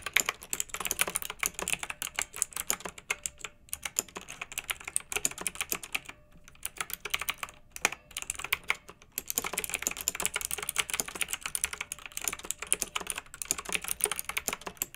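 Rapid typing on a pink plastic retro mechanical keyboard with round typewriter-style keycaps, blue backlight and a hollow case, pressed with long acrylic nails and the fingertips of both hands. Dense, bright clicky key presses run almost continuously, with a few brief pauses around the middle.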